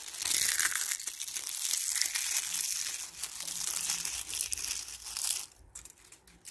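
A hand plucks a handful of dry, brittle brown ivy leaves from a brick wall in a back garden and crushes and crumbles them between fingers and palm with long painted nails. The result is a dense, bright, dry crunching and tearing crackle for about five seconds. It then drops to a few faint crackles.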